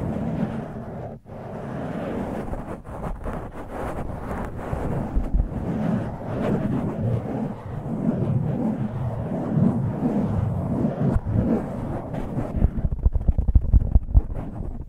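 Fingertips and nails rub and pinch a black foam windscreen on a microphone, producing a close, muffled rumbling scratch that sits mostly in the low end with uneven crackly bursts. The sound briefly drops out near the start, then continues as a dense scraping rustle, ending with sharper popping squeezes.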